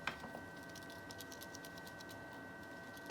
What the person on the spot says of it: You can hear that rattle. That's the shaking switch that's inside the handle.